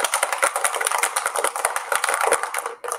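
An object is shaken at a set strength and distance from a sound sensor with no material around it, as the unmuffled control, with its sound level recorded at 44.9. About three seconds of rapid, dense clicking and rattling follow, with no low-end thump and energy spread through the mids and highs. The rattle drops out briefly near the end before one last burst.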